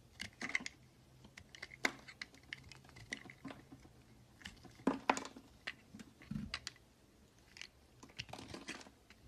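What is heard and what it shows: A red utility knife carves and shaves strips off the edge of a solid pale green bar of soap. The result is a quiet, irregular run of short, crisp scraping and crunching cuts with bright, high edges and almost no ring. There is a faint low hum underneath.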